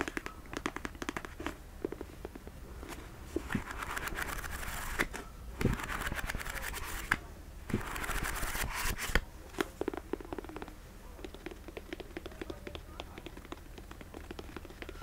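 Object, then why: Paperback book, paper with card cover. Fingertips and nails tap the card cover and page edges of a small paperback novel, "Book Lovers," with solid paper pages, held in one hand in front of a fluffy microphone. The result is a steady stream of quick, dry, crackly taps and scratches with a low hum underneath, swelling into a brighter, rustling patch around the middle.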